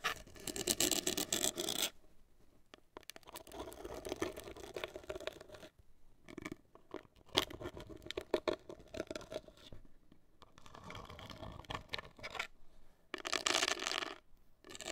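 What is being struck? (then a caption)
Cardboard cosmetic box. Long acrylic nails scratch and tap the front face of a hollow, black printed cardboard cosmetic box, heard close up. Bursts of dry, bright scratching alternate with short light taps and brief pauses, with little low end and no ringing.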